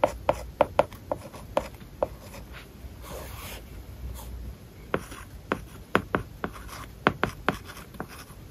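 A plastic stylus writes words on an iPad lying flat, its glass screen covered with a matte plastic paper-like film. Sharp, short taps in quick clusters mix with soft scratchy strokes across the film, with a quieter stretch of steady rubbing in the middle. The sound is dry and muted, with little ring after each tap.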